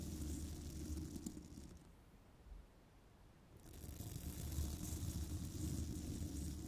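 A small bristle brush rubs along the top edge of a hollow metal mesh microphone grille, making a steady scratchy rubbing with a deep, boomy rumble and a bright hiss. The rubbing fades to near quiet for about a second and a half in the middle, then picks back up just as loud.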